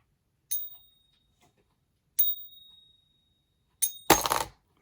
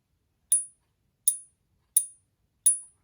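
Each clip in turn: First: Three bright pings with a clear high tone that keeps ringing; a genuine silver coin. Second: Four thin, high clicks that die almost at once: a fake silver coin, dead with no sustained ring.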